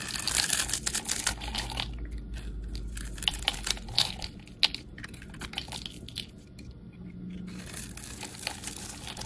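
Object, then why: Bar of soap. A utility knife blade scrapes and shaves the edge of a solid rectangular bar of pink-and-white striped soap held in the hand. The result is a dense, bright, crackly crunching with quick crisp ticks. The shaving eases into a quieter, softer stretch in the middle before picking back up toward the end.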